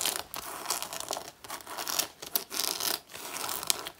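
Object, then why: Faux leather jacket. Both hands with long natural nails claw at the front of a black faux leather jacket made of soft synthetic leather and worn on the body. Bright, dry scratching and rasping comes in uneven bursts with short pauses between them. It has a crinkly, tearing-like texture and almost no low end.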